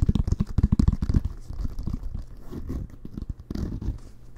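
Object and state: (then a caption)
Leather American football, scratched and tapped. A full-size inflated, hollow American football with a pebbled leather-like cover is held in both hands while fingertips tap and nails scratch the cover and laces. A quick run of dull, low thumps comes first, then it settles into softer scratching and a few scattered taps. The sound is deep and muffled with almost no bright edge.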